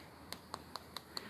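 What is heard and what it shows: Natural stone cladding on a house's front pillar is tapped five times, each a short, sharp, bright click that dies away almost instantly over a faint background hiss. The taps sound solid and dense rather than hollow, marking the cladding as genuine natural stone, not fake.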